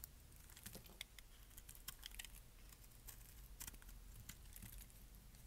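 A metal blade shaves flakes off the edges of a solid lilac bar of dry soap, and the flakes drop onto a pile of shavings. Quiet, dense, crisp scraping and crackling ticks run throughout, bright and dry over a faint low rumble.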